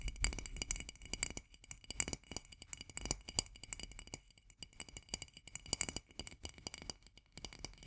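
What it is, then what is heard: Full glass jar of marmalade. Long nails tap rapidly on the glass sides of a full jar of marmalade, making a dense run of sharp, bright clicks. Each tap dies almost at once, leaving a faint glassy ring and a soft low thump underneath.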